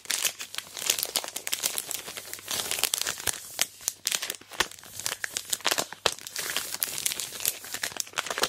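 A large sealed Aero Mint chocolate bar in its plastic wrapper is gripped, squeezed and scraped with long black nails. Dense, bright plastic crinkles and crackles run continuously, with sharp, loud snaps scattered throughout.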